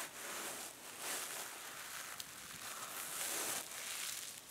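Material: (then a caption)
Plastic mesh. A small rectangular hand-held kitchen sponge, covered in silver metallic plastic mesh over soft foam, is scratched by long painted nails and squeezed by fingers. The result is a steady, bright, crinkly scratching and rustling, almost entirely in the high range with hardly any low end. It swells louder around the one-second mark and again near the middle-to-late part of the clip.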